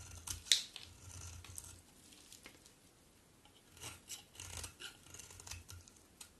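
A solid white bar of soap, held in one hand, is shaved with a box cutter blade in scraping strokes. Quiet, bright, dry rasping strokes come in bursts, with a sharp crisp click near the start and little low end.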